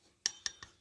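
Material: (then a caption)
Metal. The clutch carrier, or clutch shoe assembly, from the CVT of a Honda Beat FI ESP scooter is tapped three times. Each tap gives a short, bright metallic clink that rings high and fades fast. The damper plate ring held by its circlip is loose and is the source of the CVT noise; it is not dangerous but gets worse over the years.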